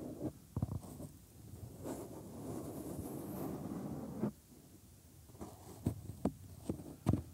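Thumbs press into and rub the folds of a binaural microphone's white silicone ear molds, bending the soft silicone. Close, low rumbling rubs and soft squishy friction swell through the middle of the clip, broken by several short, dull taps and pops.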